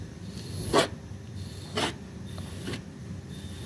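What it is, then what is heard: Small fabric rug being scraped. A blue plastic disposable razor, held in the hand, scrapes across a small, flat, butterfly-shaped pink woven fabric rug that is dry and clean on a white surface. Three short, bright, rasping strokes stand out against a quiet background, the last one softer.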